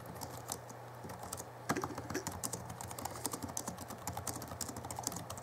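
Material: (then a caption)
Plastic. Fingertips of both hands type on the backlit plastic keys of a small 2011 Alienware M11x R2 laptop keyboard. Quick, dry, bright clicks patter at an uneven pace over a steady low hum, each tap dying out almost at once.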